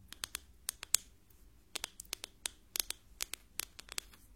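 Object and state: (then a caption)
Wooden ruler, wood. A wooden ruler is tapped in a series of quick, irregular taps during a hearing test, each a sharp, bright, high-pitched click that dies out almost instantly. The sound is identified as wood.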